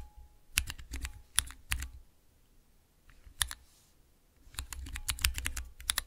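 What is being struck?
Clear plastic keycaps on mechanical switches.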